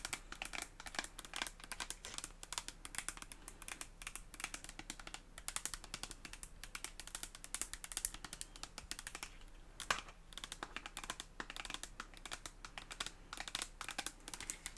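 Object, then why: Soft plastic cosmetic tube. Long acrylic nails tap and scratch a red soft plastic cosmetic tube, both hollow and filled. Rapid, dry, bright clicks and light scratching run continuously and quietly up close, each tap dying away almost instantly.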